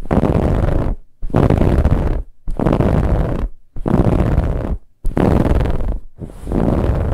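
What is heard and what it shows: Fingernails scratch fast across a soft brown, finely ribbed fabric pillow in six dense bursts separated by short pauses. Each burst is a rough, rapid rasping texture, heaviest in the low range with a thin, bright hiss on top.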